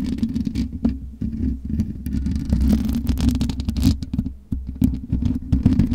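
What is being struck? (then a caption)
Metal mesh microphone grille. Long nails scratch across the black metal mesh grille of a USB microphone, producing a dense, steady low rumble and whir with rapid scratchy clicks and brief bright crackles throughout.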